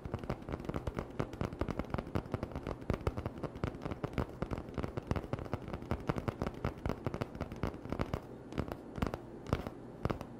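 An empty, hollow cardboard toilet paper tube held in one hand is tapped and scratched with fingertips and short nails. A rapid, steady stream of dry, hollow taps with a dull low thump mixes with soft, crackly scratching. Each tap is short, with almost no ring.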